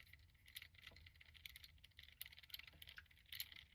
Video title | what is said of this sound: Demoniacal Fit Trump Card Vegito, the power even the gods fear SH Figuarts like review. Big MEH. | It sounds cheap.